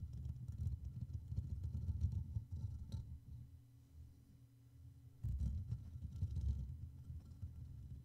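Fingertips and short nails brush and tap the top and sides of the hollow black metal mesh grille on a Blue Yeti microphone, with the hands staying on the mic throughout. The sound is a dense, low, rumbling scratch with faint bright ticks, easing off near the middle before surging back.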